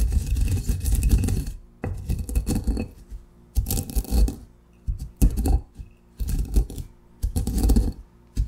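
A granite pestle grinds coarse coffee grounds in a granite mortar. Repeated bursts of gritty crunching and scraping, with a heavy low rumble and bright crackle, are separated by short quiet pauses between strokes.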